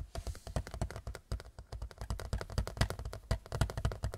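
A large white picture frame is tapped quickly and unevenly with fingertips. The taps are short, dull, low thumps with a faint bright click on top, each dying away almost at once.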